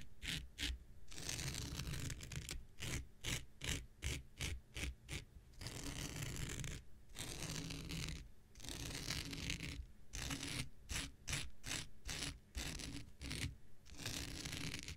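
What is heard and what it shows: An X-Acto knife blade scratches across a thin, blue, hand-sized non-woven synthetic fiber scouring pad held in the hand. It makes a quick, irregular run of bright, raspy scratching strokes with short pauses between bursts, over a steady low rumble.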